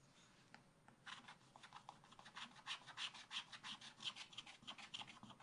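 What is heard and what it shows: A wooden stylus scratches the black coating near the bottom of a scratch-art book page, then fingers rub the loose shavings across the coated paper. After a faint, hushed first second, quick, bright, dry scratching strokes follow at about three per second, with a thin papery hiss and almost no low end.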